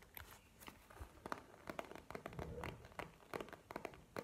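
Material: Faux leather.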